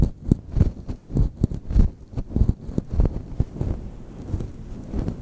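A grey-white fluffy faux fur windscreen covering the whole head of a microphone is rubbed and scratched by both hands, with long manicured nails, fingertips and rings on the fingers. The result is a dense, muffled, low rumbling of irregular soft thumps and brushing swells, with almost nothing in the high range.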